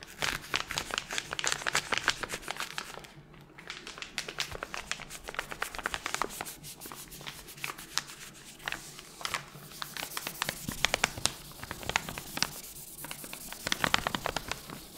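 Long nails scratch, flick and crinkle the sleeve of a small, flat pink paper guitar-string packet held in one hand. The result is a quiet, steady stream of crisp, bright ticks and crinkles, with a short softer lull near the three-second mark before the dense tapping resumes.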